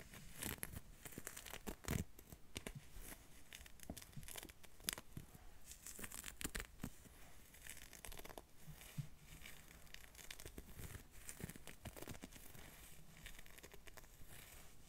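Long, dark-painted fingernails scratch the sleeve of a green ribbed knit jumper worn on the upper arm. The result is a steady, quiet run of dry, rasping scrapes and crinkly bursts with bright, hissy texture and brief louder strokes, each dying away at once.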